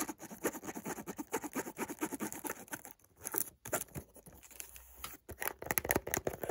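A small, closed, white rectangular cardboard perfume box is held in the hand while fingertips and short nails tap and scratch along its edges and faces. The result is a dense run of quick, dry taps and papery scratches with bright, crisp detail and almost no ring. Brief quiet gaps interrupt the run.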